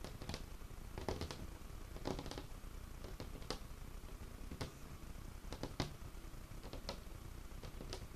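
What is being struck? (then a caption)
Wooden tabletop. Fingertips and nails scratch and tap across a large, solid, dark-stained wooden tabletop. A steady, quiet, low scratching rustle runs throughout, broken by short, dry, bright taps that stop almost at once.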